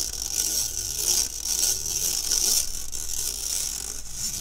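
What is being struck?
Stainless steel wire mesh sieve.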